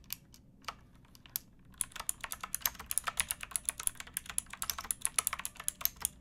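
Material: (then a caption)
Plastic. Both hands type with fingertips and nails on a pink backlit mechanical keyboard with plastic keycaps. About 37 sharp, bright, dry clicks are heard, sparse and scattered at first and then a fast, steady run of typing from about 1.8 seconds on.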